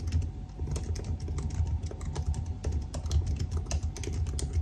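Fingertips of both hands type rapidly on the black plastic keys of a silver aluminium laptop keyboard. The fast, steady run of short, crisp taps sits over a heavy low, dull thump, with brief bright clicks on the sharper strokes.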